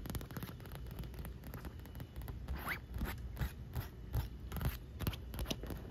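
Long nails tap and scratch the taut, wet vinyl of a large pink inflatable pool ring, hollow and air-filled and floating on pool water. Quick, unevenly spaced taps land with a low, hollow thump over a steady rumbling bed, while brighter scratchy streaks flick across the surface. The taps die away almost at once.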